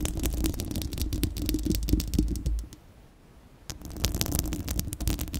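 Long acrylic nails of both hands scratch a bare, round, hollow-dome steel-mesh microphone grille, producing a dense run of fast, crackly scratches over a heavy low rumble. The scratching drops to near silence for about a second in the middle, then resumes just as busily to the end.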